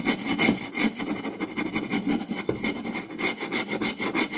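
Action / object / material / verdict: scrape / round wooden plate / wood / none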